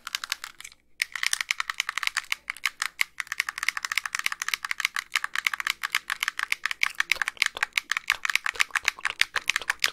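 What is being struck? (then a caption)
Plastic handheld game console shell and buttons. Long pink nails tap and click rapidly on the shell and buttons of a small, white, hollow plastic handheld game console with a screen, held in both hands. The dense, dry, bright clicks and taps run almost continuously, with only a brief pause near the start, and have no low-end body and no ring.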